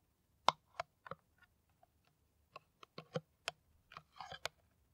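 Long nails tap an empty, hollow, clear plastic PET water bottle with a white cap. The taps are irregular, short, dry, and quiet, each a crisp click that fades almost instantly, with a mid-pitched plasticky tone around 1 kHz and some bright edges. A quick flurry of taps comes near the end.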